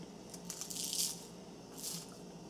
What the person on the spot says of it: That's how crunchy it is.